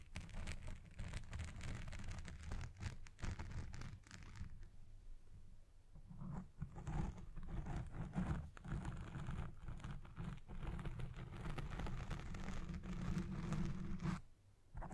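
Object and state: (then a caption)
Foam microphone windscreen being scratched. Long red nails and fingertips scratch and rub the black foam windscreen on a Blue Yeti Pro microphone while it records. The result is a dense, muffled, boomy rustling and scratching, heavy in the low end with a faint tone near 190 Hz. It eases to a softer rub around four to six seconds, then builds again before briefly dropping out near the end.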